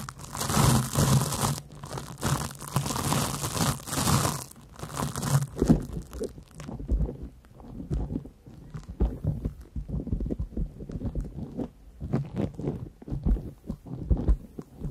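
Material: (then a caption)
Cellulose. A large, porous yellow cellulose sponge is scratched with long nails across its surface right over the microphones. The first several seconds bring dense, broadband crackling scratches. These give way to sparser, quieter rustling and crinkling strokes with a low, close-up rumble underneath.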